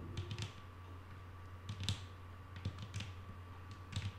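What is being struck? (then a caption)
Wooden tabletop. Long nail tips tap on a flat, solid wooden tabletop in quick, irregular clusters. The taps are short, bright clicks over a steady low hum and a faint constant tone, and each one fades fast.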